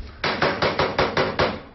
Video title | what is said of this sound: "Mon métier, ma passion" - Loïc Broust, Ramoneur | quand je tape, donc ça fait du son, donc des vibrations dans le conduit